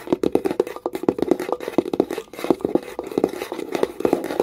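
Long nails tap fast along the rim of a small wooden box with a metal clasp. The result is a quick, uneven run of short, dry clicks with a hollow tone around 340 Hz and almost no ring after each tap.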